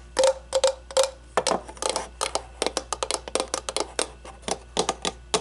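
Long nails tap the sides of an empty, hollow, clear acrylic cube display case about the size of a baseball, standing on a wooden table. About two dozen quick, bright, hollow clicks come in an uneven rhythm, the first few with a short pitched ring near 540 Hz. Each one dies out almost instantly.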